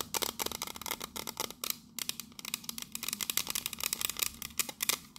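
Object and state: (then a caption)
Metal biscuit tin. Long nails tap rapidly on the side and lid of a pink metal biscuit tin with a teal lid. They make a dense run of sharp, bright, clicky taps that stop almost instantly, with hardly any ring or low end.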